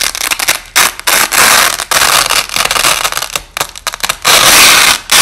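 Two overlapping thin, flexible white nylon hook-and-loop strips are peeled apart by hand, slowed down, giving a series of bright, noisy ripping bursts with crackly texture separated by brief gaps. Most of the energy is high, with almost no low end.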